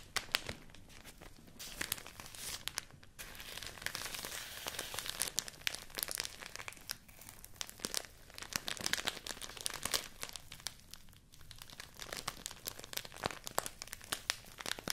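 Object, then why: Thin rice paper sheet. A folded sheet of thin white rice paper is crinkled and scratched with fingertips and long nails close up. The result is a steady stream of bright, dry crackles and crisp rustling, with short pauses, little low end and no ring.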